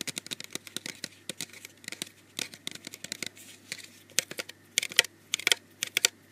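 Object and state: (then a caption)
Plastic bottle tapped and scratched. Fingertips and nails tap and scratch around the sides of a small white plastic bottle with a red label, held close up. About thirty quick, sharp, clicky taps come in uneven bursts, bright and dry with almost no low end and no ring. Faint scratchy rustles fill the gaps between them.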